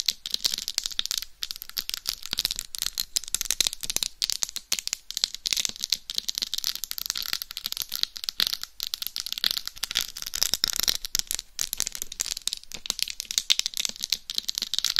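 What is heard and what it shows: Very long nails scratch across the small plastic rhinestones covering the face and top of a hollow, life-size binaural dummy head microphone. The result is a dense, continuous stream of bright, crisp scratching and clicking that sits almost entirely in the high range, with little low end and no ringing after each stroke.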